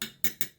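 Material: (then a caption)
Metal. Three light taps on the metal iron holder of a Hakko FX-888D soldering station, each a bright, short metallic tick with a faint ring that fades quickly. The holder sounds like metal rather than plastic, though it has a plastic bottom.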